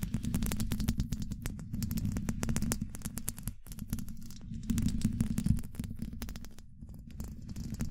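Long nail tips tap rapidly on a hollow domed steel mesh microphone grille. The taps come in a dense, uneven flurry of short, dry clicks with a heavy, boomy low rumble beneath them, broken by a few brief pauses.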